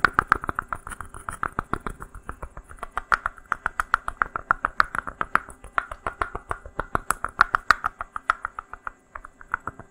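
A small, hollow, unglazed, dry terracotta pot made of stacked rounded sections is held in front of a mic and tapped and scratched with fingertips and nails. Dozens of quick, dry, hollow clicks ring out with a mid-pitched knock, each dying away almost instantly, in a steady irregular rhythm with faint scratchy texture between the taps.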